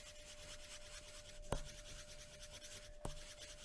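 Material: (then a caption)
Paper. A graphite pencil rubs and scratches across a thin white paper sheet on a wooden table in continuous shading strokes, giving a soft, steady, bright scratching texture with a faint steady tone underneath. Two brief sharp ticks stand out, one about halfway through and another near the end.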